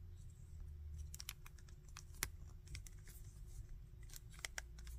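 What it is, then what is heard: Plastic action figure, joint clicks. A small hard-plastic Bardock action figure is held in both hands while fingertips rotate its arms and handle the body. Sharp, bright joint clicks and soft plastic rubs come in irregular bursts over a steady low hum.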